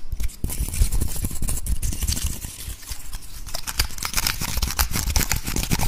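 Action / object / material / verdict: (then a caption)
scrape / woody pine cone / wood / none. A dry, brown, woody pine cone, solid and about palm-sized, is held close to the recorder while fingertips and nails scratch and rub across its scales. The result is a fast, dense run of crackly scratches and bright clicks over a heavy low rumble from the handling.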